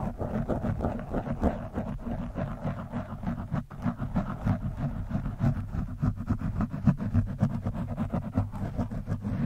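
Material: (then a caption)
Foam. A screwdriver tip pokes and scratches down onto an orange foam windscreen on a microphone. It makes a dense, muffled stream of low, rumbling scrapes and soft, rapid thuds, with almost no high-end brightness.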